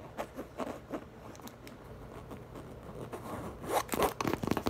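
Long nails tap and scratch the printed side panel of a large, hollow, light-blue printed coated canvas tote bag. Light, quick taps open the clip, followed by a stretch of soft, dry scratching, then a louder burst of rapid scratches and taps at the end.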